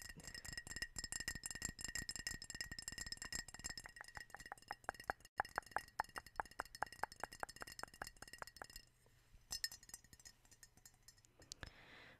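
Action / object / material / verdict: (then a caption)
tap / ceramic mug / ceramic / none. Long blue-painted nails rapidly tap a hand-sized, hollow, seemingly empty white ceramic Hedwig owl-shaped mug with a black handle, close to the microphone. The result is quick, crisp clicks with a bright, glassy clink and a faint tone around 820 Hz. The tapping is dense for most of the clip, then thins into sparser, quieter taps near the end.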